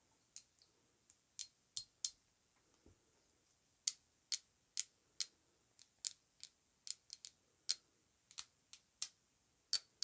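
Long nails tap a thick, square Narco Oasis glass perfume bottle with a gold cap, filled with perfume, as it is held and tilted. About 19 quiet, sharp, high-pitched clicks sound at an irregular pace, each dying away almost instantly with no low-end body.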